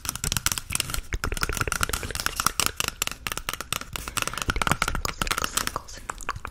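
Long nails tap and scratch up close on the surface of a small, empty, hollow grey cardboard toilet roll tube. Quick, dry, papery taps and scrapes fall in a dense, uneven stream, with a faint hollow tone near 1.3 kHz and no lingering ring.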